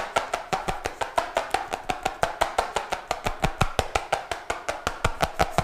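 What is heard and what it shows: A colorful cardboard notebook with a glossy cover, held in both hands, is tapped quickly and hard on the cover with fingertips and nails. About 32 sharp, dry taps fall in a fast, slightly uneven rhythm, each with a hollow, papery knock that dies away almost at once.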